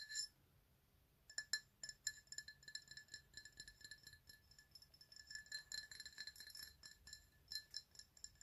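A tall, empty black glass tumbler with a white PlayStation logo is held upright in both hands and tapped all around with long manicured nails and fingertips. The result is a quiet, irregular run of bright, short glassy clinks ringing near 1.7 kHz with high overtones, in tight clusters separated by brief pauses.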